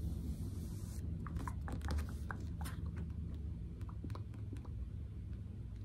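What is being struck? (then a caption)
Paperback book with card cover. Long manicured nails and a fingertip tap and trace across the glossy card cover and page edges of a medium yellow-covered paperback novel held in hand close to the mic. Light, crisp clicks and scratchy strokes sound over a steady low rumble.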